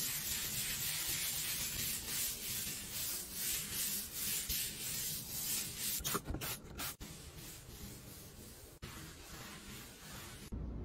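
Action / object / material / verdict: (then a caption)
scrape / granite countertop scrubbed with a bristle brush / granite / none. A gold and brown solid-slab granite kitchen countertop is scrubbed by hand with a blue bristle brush, then wiped with a cloth. Steady, bright, hissy rhythmic strokes brush back and forth, broken by a few brief pauses before a final wiping rub.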